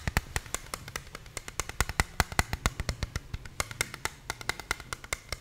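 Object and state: Plastic game controller.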